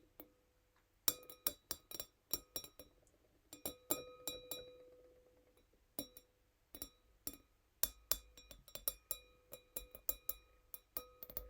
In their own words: Sound of tiny wine glass 🍷 | gentle nail tapping